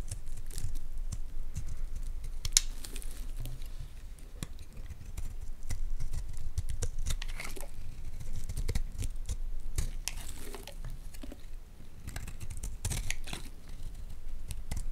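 A metal blade repeatedly scrapes curls off the carved surface of a solid white Palmolive bar soap held in the hand. The result is a steady run of short, dry scraping and crinkling strokes, each with a bright edge over a low rumble.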